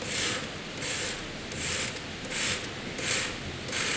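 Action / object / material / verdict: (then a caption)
scrape / graphite pencil on drawing paper / paper / none. A hand draws diagonal hatching strokes with a graphite pencil on a flat sheet of white drawing paper. Six bright, high-pitched scratching strokes follow one another in a steady rhythm, each a soft, dry rasp over a low background hiss.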